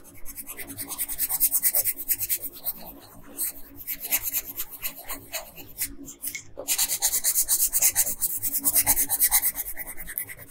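A pink wooden colored pencil scratches and rubs across a flat paper coloring page around the bodice and brooch. Quick, uneven back-and-forth strokes make a dry, bright, raspy hiss that briefly drops off near the six-second mark before resuming at a steady pace.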